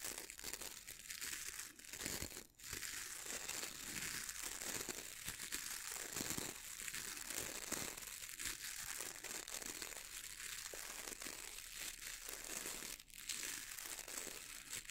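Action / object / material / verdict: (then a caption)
scrape / boar bristle brush with wooden handle / boar bristle / none. Fingernails and fingertips scratch quickly across the dense dark bristles of a boar bristle brush with a wooden handle. The result is a continuous, bright, crinkly scratching hiss, mostly high in tone, with brief pauses near 2.5 and 13 seconds.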